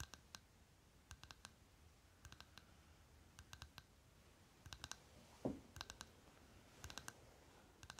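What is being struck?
Small plastic lip balm jar.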